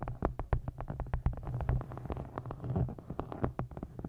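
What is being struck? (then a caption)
Faux-leather hardcover book. Long nails tap and scratch the embossed surface of a solid dark green hardcover book with an embossed faux-leather cover. A quick, uneven run of short, dry taps with a low thump beneath each one is heard, with soft scratchy rustling between the taps.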